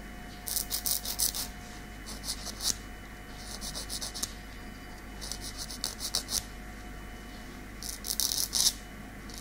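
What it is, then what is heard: Fingernail being filed. A long natural keratin fingernail is filed with a light grey nail file in a fine rasping scratch. Bright, hissy strokes come in five quick bursts separated by short pauses, over a faint steady hum.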